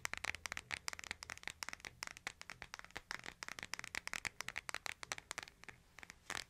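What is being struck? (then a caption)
Smartphone with glass screen and plastic case. Fingertips tap and scratch the case and edges of a hand-sized smartphone with a glass screen and case, held in both hands. About 35 quick, dry, separate clicks and scrapes sound bright, centered near 2 kHz, with almost no low end and no ring.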